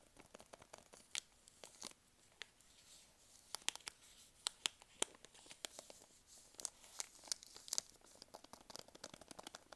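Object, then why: Soft plastic wet wipes packet. A full blue and white soft plastic wet wipes packet is turned in the hands, squeezed and scratched with long nails. It gives quiet, bright, crinkling plastic sounds made of many short, sharp crackles over a faint hiss, with almost no low end.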